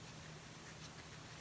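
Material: Nothing is struck.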